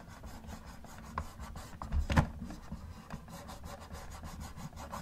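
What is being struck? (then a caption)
Plastic toy car. Gloved fingers rub and scratch the hood of a hollow, yellow plastic Camaro model car. The result is a soft, low, steady rubbing with faint scratchy texture and a brief louder scrape about two seconds in.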